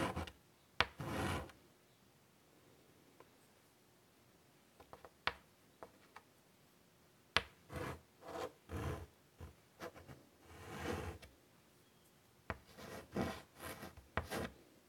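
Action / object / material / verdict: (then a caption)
scrape / chalk stick on a wooden-framed chalkboard / chalk / none. A stick of white chalk held in the fingertips draws curvy lines on the flat dark surface of a large wooden-framed chalkboard lying on a table. Short, sharp taps alternate with bursts of scratchy, broadband rubbing that reach up into the bright range, separated by near-silent pauses.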